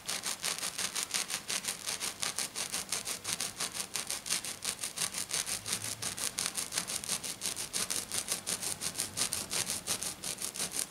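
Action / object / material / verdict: scrape / silver glitter sheet scratched by fingernails / glitter / none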